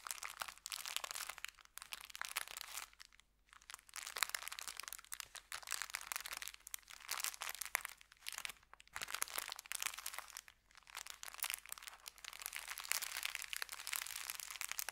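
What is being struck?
Kraft paper bag.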